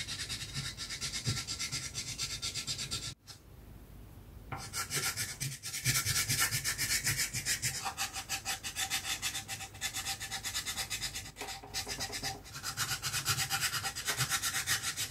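A chalk stick is stroked and rubbed back and forth over a flat, solid black chalkboard sheet to fill in colour. The result is a steady, bright, raspy scratching broken by a short quiet pause near the start and a few brief gaps.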